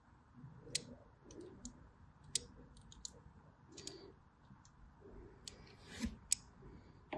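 A blade scores lines along the side of a solid white bar soap with a crosshatched surface. The result is a string of sharp, bright clicks and short scratching strokes over a faint low background hiss. Each click dies away almost instantly.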